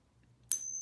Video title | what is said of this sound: Coin Ping Test - Does it work? - Purity Limitation | this is a 90 silver coin here and it sounds exactly like this 72 coin from japan